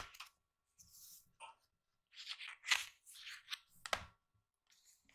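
Fingertips rub and brush across an open page of a hardcover recipe book with glossy paper pages, lying open on a table. Soft, dry, bright swishes and scratches come in irregular bursts with short silences between them.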